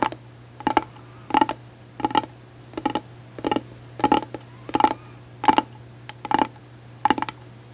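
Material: Hard plastic.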